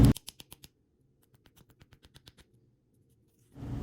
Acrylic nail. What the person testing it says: when it has a high pitched tapping that's how you know it's dry and if it sounds kind of dull that's how you know you need to wait a little bit